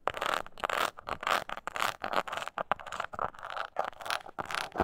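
Long nails scratch the textured front of a small, hollow, brown crocodile-embossed leather mini coin purse with a metal clasp, held upright. The result is a steady run of short, dry, crackling scrapes in quick bursts, with most of the sound in the mids and little low end.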